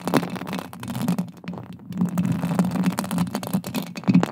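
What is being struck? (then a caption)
Metal mesh microphone grille. Long acrylic nails scratch and tap on a silver metal mesh microphone grille. It makes a close, continuous stream of scratchy rasping and quick clicky taps over a low, boomy resonance. The sound rises and dips in loudness throughout.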